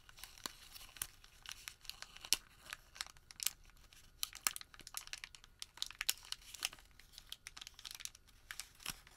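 Bare fingertips crinkle a thin, crumpled sheet of printed thermal paper receipt, partly unfolding and refolding it. The result is a quiet, steady stream of sharp, bright crackles and snaps with almost no low end, each very short, with occasional louder pops.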